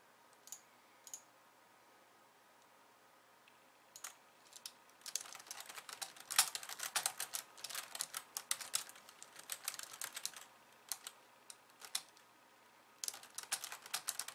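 Long painted nails type on a pink low-profile plastic keyboard with white keys resting on a wooden desk. A few isolated clicks give way to bursts of rapid, bright, dry key clatter with almost no low end. After a brief pause with scattered taps, the typing picks up again near the end.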